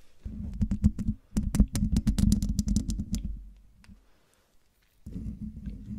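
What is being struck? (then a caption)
Metal mesh microphone grille. Long dark nails scratch and tap the hollow metal mesh grille of a silver Blue Yeti microphone, making quick, uneven taps and scrapes over a deep, boomy low rumble. The sound fades almost to silence for about a second as the hand moves off the mic, then a softer rumbling scratch resumes.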